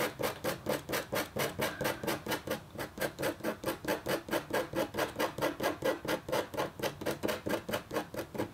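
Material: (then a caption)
Copper foil. A metal-tipped stylus scratches a thin, solid, flat black-coated copper foil scratch art board in quick back-and-forth strokes. About 38 short, dry, rasping scrapes come in a steady rhythm, each with a mid-range tonal edge and a bright hiss. Each stroke stops almost at once, with no ring.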